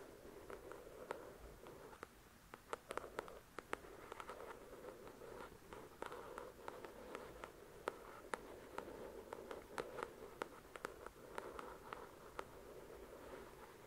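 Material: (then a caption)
Paper. Long acrylic nails scratch and tap the glossy card cover of a thick paperback novel. A soft, steady scratching hiss centered in the low mids runs throughout, broken by many sharp, bright, dry taps that stop almost instantly. The whole clip stays quiet and close.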